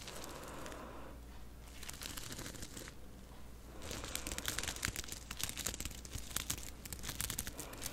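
Both hands with long purple-painted nails scratch and rub a light blue fabric face mask covered in small Swarovski crystal rhinestones, worn on the face; the mask is soft and hollow, not solid. A steady crinkly, scratchy rustle fills the first few seconds, then grows denser and louder with rapid bright clicks and ticks as the nails rake across the stones.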